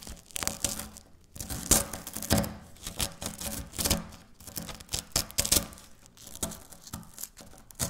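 Dry wafer biscuit chunks are crumbled and broken by fingertips and long nails on a stone countertop. Dense, bright crunching and tearing crackles come in irregular bursts, with short quiet gaps between them.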